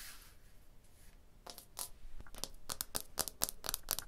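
Fingers and long blue nails rub and scratch across a wall of solid tooled limestone blocks. A soft, airy rubbing hiss opens the clip, then gives way to a quick, uneven run of short, bright, dry scratching strokes that grow denser toward the end.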